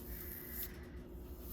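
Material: Nothing is struck.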